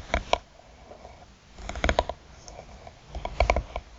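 Long nails tap the top and side edges of a closed, hollow black hard eyeglass case with a croc-textured faux-leather cover. Short, dry clicking taps come in loose clusters with quiet pauses between them, each with a soft low thump and a quickly damped bright tick.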